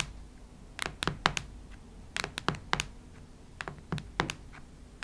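Long nails tap and scratch the cardboard cover of a cactus-print hardcover notebook. Quick, dry, bright clicks come in irregular clusters, each dying out almost instantly. Between the bursts there is only a faint low hum.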